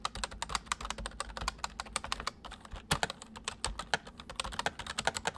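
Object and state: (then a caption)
Plastic mechanical keyboard. Both hands type quickly with their fingertips on a full-size white plastic mechanical keyboard with white keycaps, sitting on a wooden desk. A fast, steady stream of sharp, bright clicks and clacks plays over a faint low hum, with a few louder strikes standing out.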